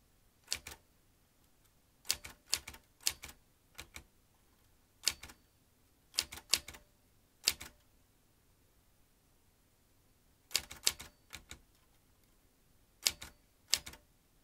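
Fingertips press the keys of a metal manual typewriter, producing short, sharp, bright clacks that come in quick clusters separated by brief pauses. Each strike is crisp and dies away almost instantly, with very little low end.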